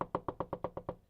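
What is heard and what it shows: Knuckles knock eight times on IKEA wooden furniture for luck, each a quick, dry, hollow tap with a mid-pitched woody tone around 950 Hz and almost no ring. The knocks come in an even, rapid series, and the last one fades out softly.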